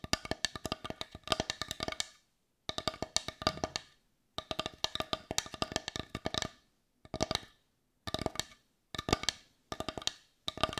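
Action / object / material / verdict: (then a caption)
tap / small wooden bowl / wood / none. A hand-sized, heart-shaped, dark brown wooden bowl, hollow and empty, is tapped with long nails on the outside and rim. Rapid bursts of bright, dry wooden clicks die away almost instantly, separated by short silent pauses.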